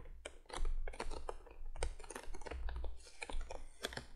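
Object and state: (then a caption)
Cardboard box. Long nails of both hands tap rapidly on the face of a printed cardboard candolier box lying flat, making quick, dry clicking taps over a low, steady rumble. The taps run in dense bursts with brief pauses, each one short and crisp with little ring.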